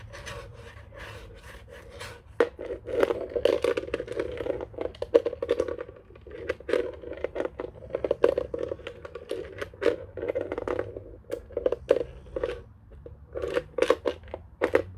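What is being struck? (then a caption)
Plastic desk telephone base. A white hollow plastic desk telephone base lies upside down while fingertips and nails tap and scratch its underside. Dense, rapid clicks and scraping strokes ring with a hollow mid-range tone, with sharp bright transients over a quiet stretch at the start.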